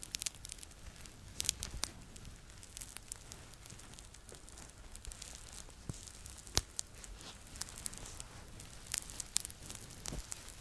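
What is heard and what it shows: Fingertips and nails scratch and rub the fleece body of a red Po Teletubby plush, a stuffed toy about 30 cm tall, held up to the microphone. The sound is a quiet, bright, crinkly scratching with many sharp, short crackles and a soft low rumble underneath.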